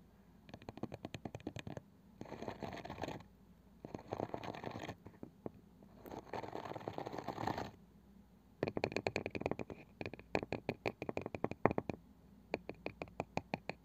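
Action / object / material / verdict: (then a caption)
tap / small round wooden box with woven cane side / wood / none. Long nails and fingertips tap and scratch the flat, light wooden lid of a small round box with a woven cane side, likely hollow. Quick, dry, clicky taps alternate with dense, hissy scratching bursts, and the clip ends on a long run of crisp, bright taps.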